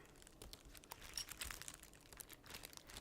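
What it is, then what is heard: Bag full of metal bottle caps. A bag full of metal bottle caps is shaken and crinkled, giving bright, rapid clinking and rustling as the caps knock together inside the crinkly bag. The sound comes in irregular bursts of short, sharp high-frequency clicks.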